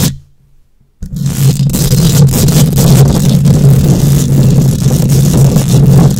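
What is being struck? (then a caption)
Wire-mesh microphone grille. Long nails scrape and scratch across the hollow wire-mesh metal grille of a microphone. After about a second of near silence, a dense, continuous rasping starts, with a strong low hum and brighter scratchy texture above it.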